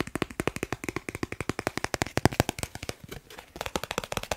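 A thin, solid dark blue plastic Snipes store card is held in one hand and quickly tapped and scratched with the fingertips of the other hand. About three dozen short, dry clicks come in a rapid, steady patter, with a brief softer scratchy stretch near the three-second mark before the fast tapping resumes.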